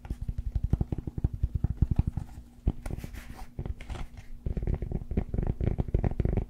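Fingertips and nails tap and scratch the surface of a rectangular solid cork yoga block held in hand close in front of a fluffy microphone. Quick runs of dull, deep, low-pitched taps come first, then brighter bursts of scratching, then a dense mix of scratching and tapping. The sound is close and mostly low-pitched, with no ring after each tap.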